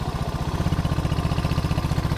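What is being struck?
Nothing is struck.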